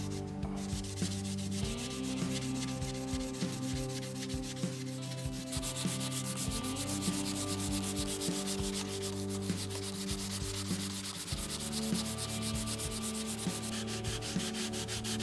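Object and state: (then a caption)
Wooden guitar neck being sanded. Sandpaper rubs along a solid, unfinished light wooden guitar neck with a dark fingerboard strip as it lies on carpet. The paper is held by fingers at first and later wrapped on a red-and-black rubber sanding block. A steady, bright, scratchy rasp repeats in back-and-forth strokes over a constant low hum.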